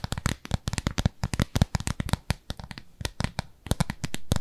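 Long nails scratch across the nubby face of a round, flat, pale pink textured silicone cleansing pad, palm-sized and solid, held in both hands. The result is a rapid run of short, dry scratching bursts with a soft, low, thumpy body and faint bright edges. It ends in a brief, steadier rubbing swell.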